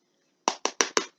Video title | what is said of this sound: Episode 11: Chocolate Eclairs: Part 1 of 2 | they sound like they're supposed to